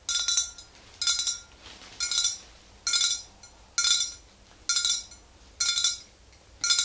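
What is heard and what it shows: Long green nails tap the neck and shoulder of a tall glass swing-top bottle nearly full of yellow liquid. Eight short bursts of bright, high-pitched clinks come at a steady pace, each ringing only briefly before fading.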